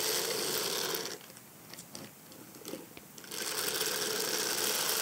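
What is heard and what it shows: A black silicone bristle brush is scrubbed and scratched over the back and side of a small, hollow, egg-shaped hard-shell faux leather evening clutch purse with a cream shimmery textured covering and a silver metal frame. Dense, bright, hissy scratching fills the first second, drops to a quieter stretch with a few faint scrapes and ticks, then returns at full strength until the end.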